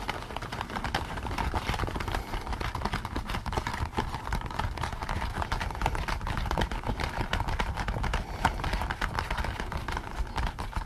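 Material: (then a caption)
Latex rubber. Fingertips scratch and tap the ears and crown of a pink latex rubber pig mask worn on someone's head. The result is a dense, steady stream of quick rubbery taps and scratches with a strong low thump and a midrange squeak-like tone, and only a little high brightness.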